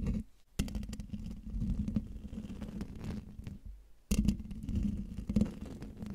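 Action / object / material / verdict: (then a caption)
scrape / domed metal mesh microphone grille / metal mesh / none. Nails and fingertips scratch the hollow domed metal mesh grille of a silver microphone, making a dense, low, rumbling scrape with a steady hum near 195 Hz and faint patter on top. The sound drops out briefly around half a second and again just before four seconds, then returns louder and continues to the end.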